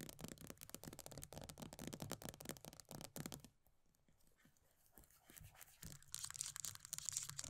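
Long nails rapidly tap and scratch the pale green plastic base of an upside-down body butter tub with a paper label. The result is a dense run of bright, dry clicks and scratchy rasps. It drops to faint, sparse taps in the middle before picking back up to brisk scratching.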